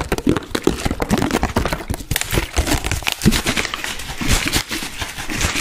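An empty, hollow, clear plastic Bisleri water bottle with a green cap is crinkled by hand, then tapped and scratched with long dark-painted nails. The result is a dense run of crackling crinkles mixed with quick hollow taps and bright scratchy rasps that continue without pause.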